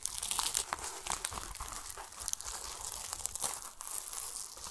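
Fingertips scratch and rub the plastic mesh net around a large, solid, whole pomelo that carries a yellow tag. The result is a steady stream of dry, bright crinkling and scratchy rasping, with quick brittle ticks and almost no low end.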